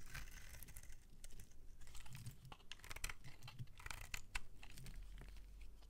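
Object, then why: Bar of soap scraped with a blade. A palm-sized, solid cream-colored bar of soap is held in the hand while a metal utility-knife blade scrapes and shaves curls off its surface. Quiet, rapid crisp scraping and crunching clicks repeat throughout, with bright transients over a low rumble.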